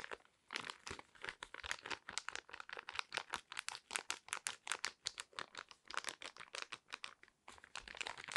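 A small, flat, sealed and full yellow foil-laminate sheet mask sachet is crinkled, tapped and scratched with long red nails. Dense, bright, crackly crinkles and quick taps come in rapid bursts throughout, with very little low end.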